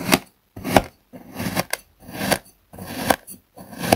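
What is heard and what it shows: A metal table knife repeatedly slices through a hand-sized solid slab of blue kinetic sand resting on a wooden board. Each slice is a soft, grainy crunch that ends in a brief tap as the blade meets the board, at a loose, uneven pace with short silences between cuts.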